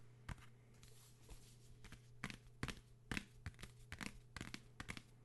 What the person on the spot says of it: material komplett anders und das hört man